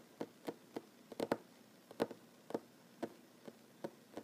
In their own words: Tapping on wooden table, mostly one handed. No talking.